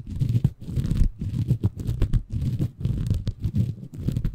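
A small, green, porous bamboo fiber sponge, soft and compressible, is held in both hands above a Tascam recorder while fingertips scratch and squeeze it. The result is a dense, muffled stream of low, crackly rustling and crunching in uneven bursts, with almost no bright top end.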